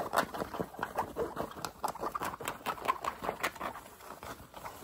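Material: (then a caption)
Fabric. A green fabric baseball cap, first held and worn and then with its brim held up, is scratched quickly with short nails and fingertips. About twenty fast, uneven scratches and taps come in dry, papery bursts with a mid-range rustle and bright brushy edges that die away almost instantly. The result is a quiet, steady patter.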